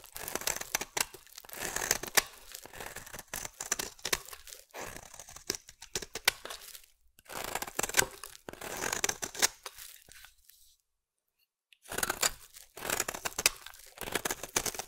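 A metal blade shaves thin curls from a solid green soap bar, making bursts of dry, crisp scraping and crackling with a bright, hissy edge and almost no low end. The strokes come in clusters with short gaps and a full second of silence near the end before the shaving resumes.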